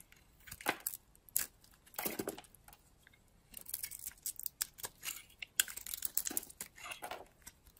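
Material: Soap.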